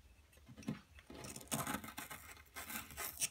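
A wooden-handled metal pick scrapes and chips at a solid blue plaster dig block, with crumbled blue plaster powder lying around it. Quiet, gritty scraping is broken by bright, crumbly chipping bursts around 0.7 s, 1.5–1.8 s and 2.6–3.3 s.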